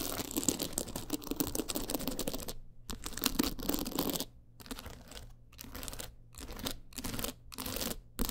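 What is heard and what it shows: Long acrylic nails rapidly scratch and tap across a teal rhinestone-covered clutch wallet with a gold frame. The result is a dense, crackly, bright texture of quick scrapes and clicks, broken by several short silent pauses.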